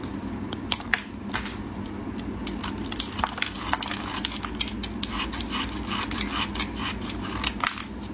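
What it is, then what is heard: Soap bar being shaved with a blade. A solid white soap bar held in gloved fingers is shaved and scraped with a metal utility blade. Many short, crisp scraping clicks with bright high-frequency rasps ring out over a steady low hum, each dying away almost instantly.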